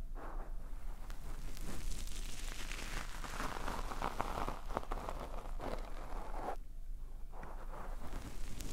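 Both palms and fingertips rub and brush over a soft, porous black foam windscreen on a microphone in a slow, massage-like motion. The result is a steady, close, muffled rustling and scratching with a heavy low rumble and a hissy midrange that swells and fades with each stroke. The sound runs continuously, with only brief quieter dips.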